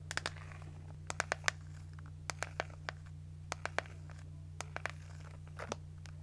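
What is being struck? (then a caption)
Plastic hairbrush with plastic bristles. Long nails tap the body of a hand-sized pink plastic detangling hairbrush and scratch and flick across its plastic bristles, giving about eighteen sharp, bright clicks and ticks spread across the clip. Faint scratchy rustles sit between the clicks over a steady low hum.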